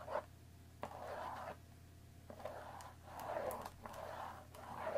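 Long dark-painted nails tap and scratch the top and sides of a hollow, rectangular Earl Grey tea bag box made of thin cardboard wrapped in plastic film, holding tea bags and standing on a wooden table. Quiet, dry midrange scratching swells in and out in bursts, punctuated by short sharp taps with almost no ring, over a faint steady low hum.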